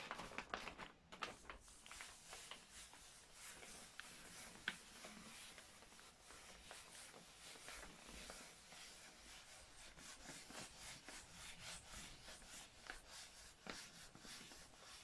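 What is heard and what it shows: Long nails and fingertips rub and scratch the surface of a grey kraft-paper gift bag held flat in front of the microphone. The result is a quiet, steady, bright papery scratching and rustling, with a few sharper ticks standing out in the first five seconds.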